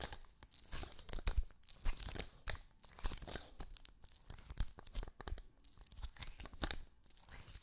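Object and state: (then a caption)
Adhesive paper lint roller. Fingertips and nails tap on and press the sticky paper roll of an adhesive lint roller with a green end cap, held close up. Each touch gives a short, bright, crackling tear as the paper peels away from the skin, with soft low thumps underneath. The bursts come in quick uneven clusters throughout.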